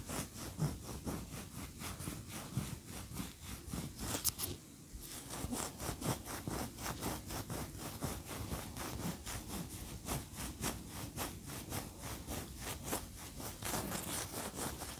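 Long nails scratch rapidly up and down a large, upright, solid cream wax pillar candle, making a steady train of dry, bright scraping strokes with a low rumble underneath. The scratching pauses briefly near the five-second mark, then continues at the same brisk, even pace.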